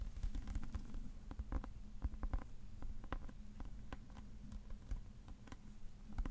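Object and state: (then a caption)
Hardcover book tapped and scratched. Fingertips and nails tap and scratch the cover and page block of a thick, dark hardcover paper book with cream page edges, held in the hands. Many short, dull, low-heavy taps come in quick irregular bursts, with soft scratching between them over a faint steady low hum.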